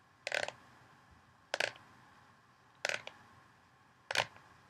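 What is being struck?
Plastic mixing bowl.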